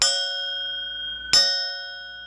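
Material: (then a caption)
Bronze. A bronze propeller off a small sailboat is struck twice and rings like a bell, each strike leaving bright, high, sustained metallic tones that slowly fade. This is how a sound, healthy propeller should ring.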